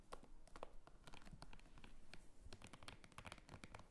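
Long fingernails scratch and tap the front and top of a small red purse made of croc-embossed faux leather with a snap button. The result is a quiet, continuous run of crisp, papery scratches and sharp little taps over a soft low rumble, each tap dying away almost instantly.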